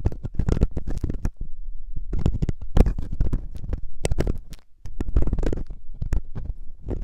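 A metal loop ear pick, held by fingertips, scratches inside the ear canal of a soft, solid silicone ear on a 3Dio binaural microphone. It makes a close, dense run of deep, muffled scraping and rubbing bursts with a boomy low rumble, with a brief quieter lull before the scratching picks up again.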